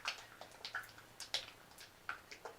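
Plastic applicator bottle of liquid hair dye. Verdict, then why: Unmixed. A plastic applicator bottle of hair dye and developer is shaken to mix, producing repeated short, bright sloshing splashes as the liquid moves around inside. The liquid can still be heard moving, so the dye and developer are not yet fully mixed.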